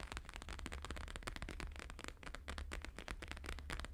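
Fingertips and nails of both hands tap fast across a thin, flexible, flat square sheet of plastic-laminated holographic paper lying on a fur rug. The result is a dense, continuous run of sharp, crackly clicks with bright edges over a steady low rumble.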